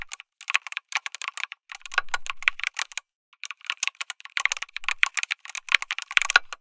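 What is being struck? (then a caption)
Mechanical keyboard with plastic keycaps. Fingertips type continuously on a backlit mechanical keyboard with plastic keycaps, an FR4 plate and tactile switches. The result is a steady stream of short, bright, clicky keystrokes with almost no low end and no ring. A brief pause falls just after the three-second mark before the typing resumes.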